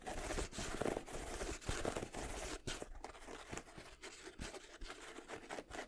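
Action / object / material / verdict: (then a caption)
scrape / leather sneaker upper / leather / none. Fingers and nails scratch and tap the leather/nubuck upper and tongue of one empty white and red Jordan 7 sneaker held vertically. The result is a steady, dry scratching and crinkling texture broken by short, soft taps that die away almost at once.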